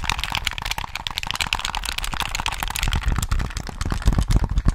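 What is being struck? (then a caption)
Handheld plastic game controller. Fingertips tap the hollow plastic shell of a handheld Sony PS3 gamepad, held in both hands close to the mic, and click its buttons and triggers. A dense, rapid stream of short, dry clicks and taps has bright plastic ticks over a low, thumpy body. The tapping grows heavier and louder toward the end.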